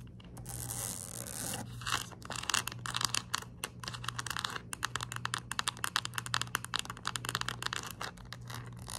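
Long nails tap and scratch the rim and face of a round, white, palm-sized, hollow plastic screw cap from a pill bottle, held upright between both hands. Many quick, dry, bright clicks and scratches run in a fast, uneven stream over a soft breathy hiss and a low steady hum. A drawn-out scraping wash sits near the start.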